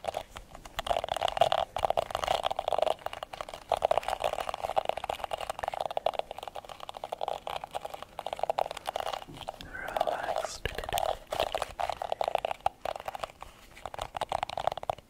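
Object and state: Plastic hairbrush bristles scratched.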